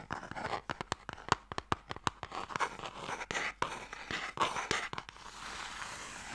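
Fingernails tap and scratch along the surface and edges of a small, long, hollow wooden Mikado box held close to the mic. Sharp, dry taps click out over a bed of bright, papery scratching. The taps stop near the end, leaving a steady soft scrape.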